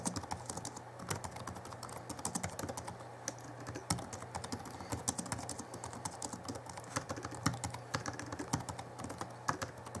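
Fingertips of both hands type quickly on the backlit plastic keys of a small Alienware M11x R2 (2011) laptop keyboard. The result is a dense, steady stream of short, crisp clicks and taps with very little ring, over a constant low hum.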